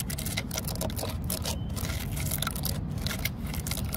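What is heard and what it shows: Long fingernails scratch into the vertical cracks of a solid, grey, weathered wooden post and tap on its surface. Dry, bright scratching and quick clicks ride over a steady low rumble throughout.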